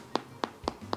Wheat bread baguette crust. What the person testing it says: Когда постукиваете, звук такой должен быть, как у барабана. Внутри чувствуются полости.